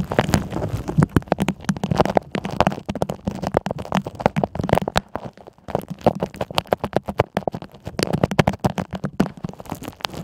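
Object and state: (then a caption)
Plastic tumbler. A clear double-wall plastic tumbler with a green lid, filled with blue water beads and clear gems, is held in one hand and tapped on the lid with long manicured nails. Dense, rapid, dry clicks and taps crowd together with a faint low hum beneath and almost no ring.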